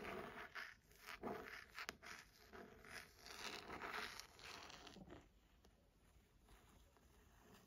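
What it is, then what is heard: Leather-bound hardcover book scratched. Long nails scratch and trace along the textured, embossed cover of a burgundy leather-bound hardcover book. Dry, bright scratching strokes come in quick, irregular bursts, louder through the first five seconds. They then settle into a quieter, softer rasp.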